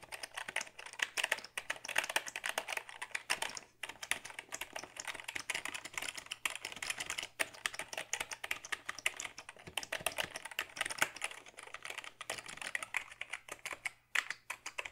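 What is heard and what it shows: Fingertips reaching over the top edge of a black, hollow plastic Dell computer keyboard type in a steady, rapid stream of light, bright clicks. Each keystroke is short and dry, with brief pauses between bursts and faint music underneath.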